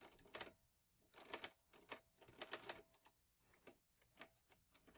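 Fingertips press the keys of a vintage teal metal Olivetti Lettera 22 portable typewriter with paper loaded, typing at a steady pace. Its metal typebars clack in sharp, bright, quickly-decaying strikes, with a faint ringing tone near 630 Hz and little low end.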